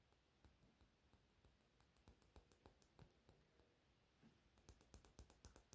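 Short fingernails tap a small, hollow pink plastic cap on a lip gloss tube held in the fingers. Around twenty quiet, dry clicks come in a quick, uneven rhythm, each bright and very short. The taps grow louder and sharper toward the end.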